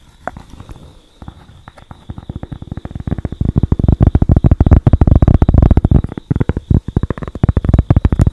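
A thin, flat cork board held close to the microphone is scratched and tapped with long acrylic nails. Soft scratching at the start builds into a dense, irregular run of quick, dry, low thuds that stop almost instantly. A faint steady tone runs underneath throughout.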